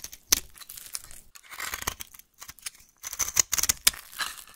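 A solid pink bar of soap is held in the hand and carved and scraped with a small metal blade, with flakes piling up. Bright, dry scraping and crisp cuts come in quick bursts, mostly high-pitched with almost no low end, separated by brief silences.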